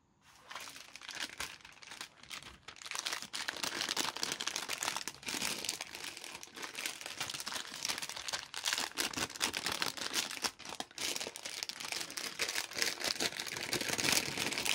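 A thin, semi-transparent frosted plastic bag with a printed pattern, about the size of a phone case, is held in both hands in yellow rubber gloves and crinkled and flexed by the gloved fingers. It gives a dense, continuous run of bright, crisp crinkling with almost no low end, rising from near silence in the first half-second to a steady rustle that stays busy to the end.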